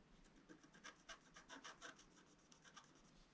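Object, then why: Scratch-art paper sheet scratched with a wooden stylus. A pointed wooden stylus held in the fingers is scratched continuously across a flat, black-coated scratch-art card, about A4 size, that lies on a table and reveals a metallic rainbow layer underneath. The result is a soft, quiet, dry scraping with a series of brief, brighter rasping strokes that rise and fall over a faint hiss.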